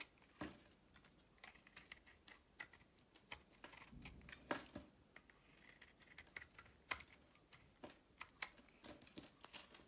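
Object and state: Bar of soap being carved.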